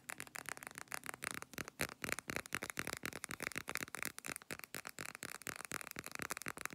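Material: Glass.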